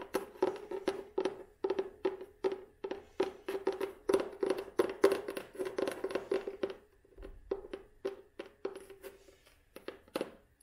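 Long nails tap rapidly on the tan cloth cover of an old, solid hardcover book with a red spine. The quick, dry clicks carry a steady hollow tone around 400 Hz and a bright top edge. After a brief pause near the seven-second mark, the tapping resumes more softly and sparsely.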